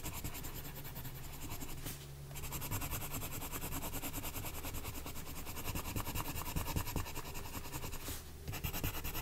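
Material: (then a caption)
Paper. A green colored pencil held in the fingertips scratches and rubs in steady strokes across a thin paper page of an adult coloring book lying flat on a woven mat. The dense, rapid scratching carries a low rumbling body under a bright papery hiss, easing briefly around two seconds and again near eight seconds before the strokes resume.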